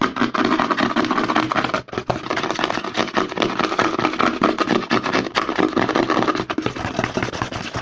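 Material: Plastic.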